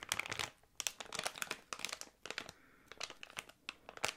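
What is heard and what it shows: A small, thick, clear plastic packaging bag with contents inside is crinkled and squeezed with the fingertips close to the microphone. It makes dense, bright, crackling crinkles in quick bursts with short quiet gaps, almost no low end, and each crackle stops sharply.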